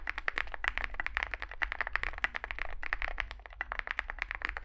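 Fingertips type continuously on a small 65% Zoom65 mechanical keyboard with a dark case and white and grey SA plastic keycaps. The result is a rapid, steady stream of short, dry clacks that are brightest around 2 kHz and die away almost instantly, over a faint low hum.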